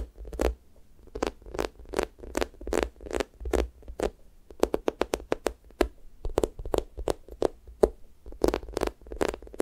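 Fingers press into a pink square toast squishy toy, made of soft, solid foam with a sticky skin, and peel off, leaving dimples. Each press and peel gives a short, dry, sticky crackle with a bright edge, repeated in a quick, uneven rhythm over a faint low hum.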